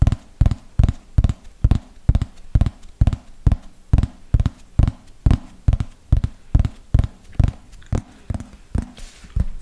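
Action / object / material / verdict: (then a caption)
tap / thin plastic flying disc / plastic / none. A thin yellow plastic frisbee with a hollow underside is held close to the microphone and tapped with long fingernails in a steady, slow rhythm of about 25 taps. Each tap is a short, dull, low-pitched knock that dies away almost at once.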